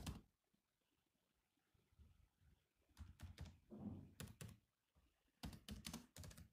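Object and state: Laptop keyboard with plastic keys.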